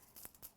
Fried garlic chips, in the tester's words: now that they're cool they're completely crispy I think you can hear how crispy